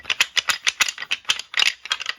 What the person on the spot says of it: to me, honestly, it just kind of sounds like wood rattling together, which is exactly what it is.